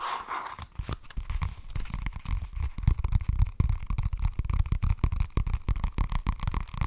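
Fingernails tap and scratch the flat, cream and green cardboard cover of an A5-sized spiral-bound notebook held up in the air. The result is a quick, irregular run of dull, low thumps with faint scratchy texture, all short with almost no ring.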